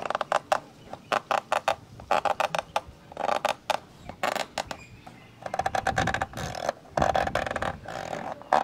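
Fingertips and nails scratch the inner walls and lens-cover area of a black, hollow plastic camcorder lens hood. Quick, dry bursts of raspy scratching come in rapid clusters, centered in the mids around 750 Hz with little low end. The scrapes turn into longer, denser rubbing passages toward the end.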